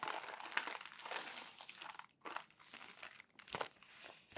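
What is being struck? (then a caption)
Thin paper magazine pages. Fingertips lift and turn the wrinkled pages of a crumpled, thin paper magazine. Bright, papery crinkles and rustles come in irregular bursts with short quiet gaps between them, with almost no low end.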